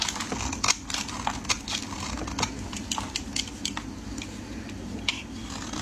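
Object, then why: Bar of soap cut by a metal blade. A metal utility blade shaves flakes from the end of a solid, speckled, hand-sized orange soap bar held in the hands. It makes a steady run of quick, dry, bright scraping clicks with almost no ring, over a low background hum.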